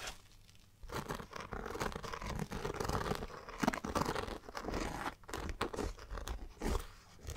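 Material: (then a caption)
Polyester fabric. Fingertips and long dark-painted nails scratch and tap on the printed round logo patch and surrounding polyester fabric of a hollow, dark green Fjallraven Kanken backpack. After a quiet first second, a dense, continuous run of soft, scratchy rustles and dull taps follows, weighted toward the low end with little brightness.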